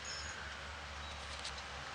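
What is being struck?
Nothing is struck.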